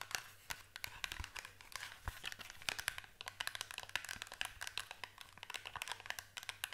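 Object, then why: Small cardboard box. A small, closed, hollow green printed cardboard product box is held in both hands and tapped and scratched with long acrylic nails. Rapid, dry, bright clicks and taps mix with a papery scratching rustle, each hit stopping at once with no ring. A faint low steady hum sits underneath throughout.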